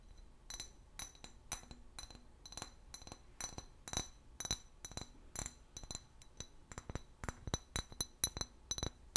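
A clear glass bottle with a paper label, hollow and apparently empty, is held and turned in the hands while fingernails tap and scratch along its body. About 29 quick, bright clinks ring with a high glassy tone and die away almost at once, with soft scratching and handling sounds between them.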